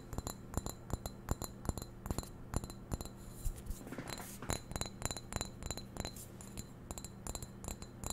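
Long nails tap rapidly and scratch across the surface of a hollow, medium-size white glazed ceramic vase. Quick, bright clicks arrive in clusters over a steady low hum, with a brief scraping passage midway. Each tap dies away almost instantly.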